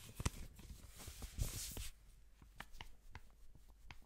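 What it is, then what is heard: Paper banknote. A single thin blue paper banknote is folded and crinkled by black-gloved hands, then held up. Close, dry crinkling with a bright papery hiss and sharp crackles fills the first two seconds, then fades to faint, scattered soft ticks as the note is held still.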